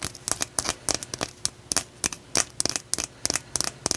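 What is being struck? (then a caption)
Rough blue calcite stone tapped with fingernails. A solid, palm-sized chunk of rough, raw blue calcite, held in one hand, is tapped and scratched with long nails. About nineteen short, dry, crisp clicks and scratchy bursts follow one another in an uneven rhythm. The sound is bright and high with almost no low end, and each hit dies away almost instantly.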